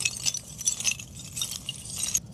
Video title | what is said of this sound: What Happens When You Carbonize Coconuts? | Sounds metallic. Now, these are both mostly carbon, but the shell is a lot more dense, and that's what's giving it the metallic sound when you drop it.